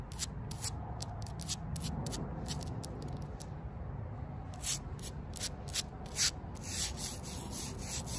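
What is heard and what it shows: Long purple nails and fingertips rub and scratch the rough surface of a square, solid concrete paving slab standing upright on the ground. Short, dry bursts of gritty high-pitched scratching come in quick strokes over a steady low background hiss, with little ring after each stroke.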